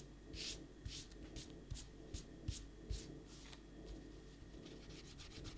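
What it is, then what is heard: Paper sheet being erased. A small eraser rubs back and forth over a pencil drawing on a stack of thin white printer paper sheets lying on a desk, held flat with one hand. Bright, dry scratchy swishes repeat in an uneven rhythm, with about seven sharper strokes standing out over a soft, low rumbling bed.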